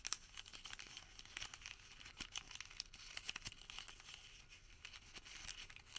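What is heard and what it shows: A thermal paper receipt, rolled into a small tube, is twisted and squeezed between fingertips. It makes quiet, dense, bright crinkling and crackling, with sharp little ticks and almost no low end throughout.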